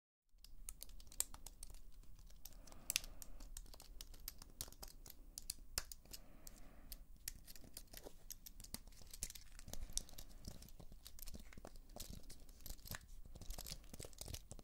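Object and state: Aluminium and plastic computer keyboard.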